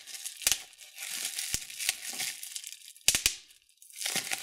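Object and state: Plastic bubble wrap.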